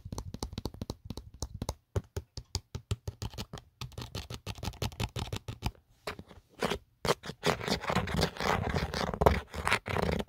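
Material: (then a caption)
Plastic. Fingertips and short nails scratch and scrape the ridged inner pattern and the edge of an empty black plastic Otterbox phone case, a hollow shell. Quick, uneven strokes make dry scratchy bursts with a low thump underneath, broken by short pauses. Toward the end the scraping turns into longer, denser rasping.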